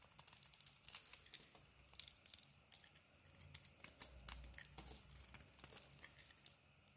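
A utility-knife blade carves and scrapes shavings off a solid pink-and-cream bar of soap held in the hand. The result is quiet, bright, crisp scraping and crackling, with many short, sharp ticks and crunches that stop almost instantly.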